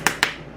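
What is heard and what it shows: A spoon taps a plastic bath bomb mold twice, giving two sharp, bright clicks with a hollow ring. The hollow sound shows the bath bomb mix has come loose from the mold and is ready to come out.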